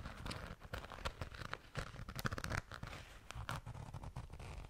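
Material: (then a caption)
Glitter fabric. Long nails scratch and tap the glitter-coated surface of a small, soft, seemingly empty pink flat zipper pouch. The result is a dense, crackly scratching peppered with many quick, dry taps that have a soft low thump beneath them.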